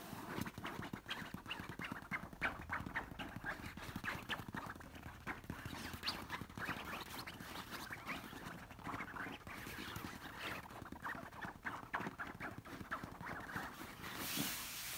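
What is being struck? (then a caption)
Stuffed pillow with silky fabric cover. Long nails scratch and tap a large, soft stuffed orange cushion covered in silky fabric. The result is a continuous stream of quick, dense rustling scrapes and soft taps with bright fabric hiss, and the hiss swells briefly near the end.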